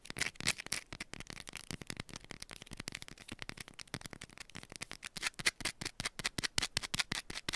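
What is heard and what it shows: A small, solid yellow bar of soap held in one hand is rapidly scratched and tapped with long, pointed nails. A dense stream of dozens of crisp, scratchy clicks sounds continuously, mostly bright and high-pitched with little low end. Each tap stops dead with no ring.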